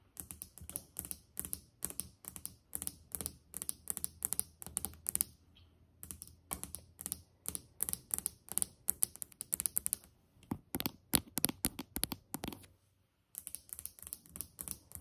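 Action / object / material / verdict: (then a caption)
tap / glazed ceramic tile countertop tapped with fingernails / ceramic / none. Long painted acrylic nails on both hands tap and lightly scratch a large, flat, solid white glazed ceramic tile countertop with grout lines. Quick, irregular bursts of sharp, bright clicks with almost no ring come in clusters, with short pauses around the middle and near the end, over a soft low hum.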